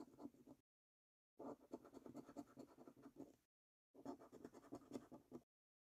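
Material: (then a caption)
Paper, latex. A coin edge scratches the latex-coated number panels of a £25 "5x £1 Million Prize Portal" National Lottery paper scratch card resting on a wooden table. Three bursts of quick, rasping scrapes are heard, separated by short silences, with a gritty texture that stays dry and stops without ringing.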